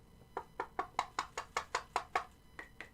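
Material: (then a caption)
Zinc alloy. The zinc alloy main plate of a Figs Toy Co 4mm Big Gold replica belt is knocked 12 times in a steady rhythm, the last two taps softer. Each knock is a short, dry clack centred near 1 kHz with almost no ring, and the plate sounds solid.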